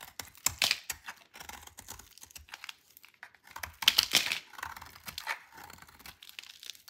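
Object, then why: Bar of soap shaved with a metal blade. The remaining piece of a dry white soap bar, held in the hand, is shaved with a metal blade. Quick, irregular bursts of crisp scraping and crackling sound bright and dry, with almost no low end. Two louder, denser scrapes stand out near the start and around the middle.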